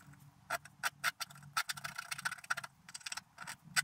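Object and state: Scratch art paper being scraped.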